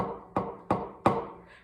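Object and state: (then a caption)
Dry hardened clay. A lump of dried, hardened clay is tapped on a table three times, giving short, hard knocks with a bright ring around 1 kHz that fades quickly. It sounds hard because all the water has dried completely out of the clay.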